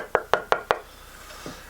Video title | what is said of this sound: Taptone Tonewoods & Wood Selection for your guitar project - BigDGuitars tonewood debate | got a great, vibrant tap tone that you can hear ring through it. And this will be warmer sounding